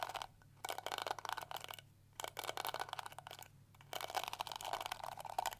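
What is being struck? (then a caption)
Plastic detangling hair brush. Long nails scratch and flick along the plastic bristles of a small pink and yellow plastic detangling hair brush. The result is dense, bright, crackling scrapes in three bursts, separated by short silent pauses.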